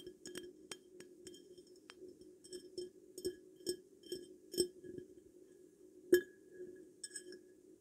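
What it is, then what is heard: Glass perfume bottle. A glass perfume bottle is tapped repeatedly in an irregular rhythm, each tap giving a short, bright glassy clink over a steady tone near 360 Hz. The taps are mostly soft, with one sharper, louder clink around six seconds in.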